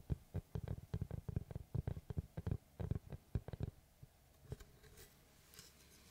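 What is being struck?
Round wooden log slice.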